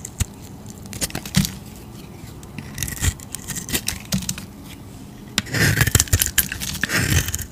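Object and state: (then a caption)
Bar soap being carved. A utility knife blade scrapes and carves curled shavings off a solid, oval, bright green bar of soap held in the hand. Short, crisp scrapes and clicks with a bright edge come in scattered bursts between quiet pauses. The carving grows denser and louder near the end.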